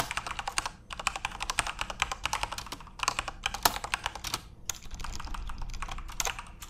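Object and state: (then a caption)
Plastic mechanical keyboard. Fingertips type quickly on a full-size RGB-backlit Corsair mechanical keyboard with plastic keycaps. It makes a dense stream of sharp, bright clicks and clacks that stop almost instantly. The bursts of typing are broken by brief pauses, and a soft low rumble sits underneath.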